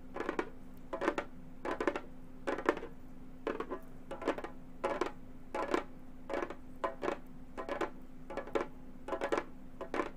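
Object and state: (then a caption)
Frame drum with synthetic head tapped by metal tips. Gold metal claw tips tap on the synthetic head of a hollow frame drum, giving quick metallic clicking taps in short clustered bursts. The clicks are dry and fade almost at once, over a low, steady hum.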